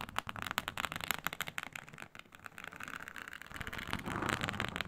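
Long pointed nails on both hands scratch across a flat, iridescent faux snakeskin mat made of embossed reptile-pattern synthetic leather. Quick, irregular, dry crackling scrapes come in sharp bursts at first, then blend into a denser, steadier rasping rub that grows brighter and louder toward the end.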